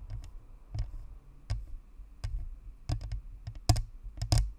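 Long fingernails on both hands tap around the top and sides of a white spherical Blue Snowball microphone, a hollow plastic shell with a perforated metal grille. The result is an irregular patter of sharp, dry clicks, each with a dull low thump and almost no ring. A few taps land in quick clusters and hit harder than the rest.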